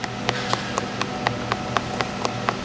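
A durian's hard, prickly shell is knocked 11 times in a steady rhythm, likely with a rattan stick tipped with a rubber pad, to judge its ripeness. Each knock is a short, dry tap with a slightly hollow tone around 1.1 kHz over a steady low hum. The sound means the fruit is not very ripe yet and should be kept another day.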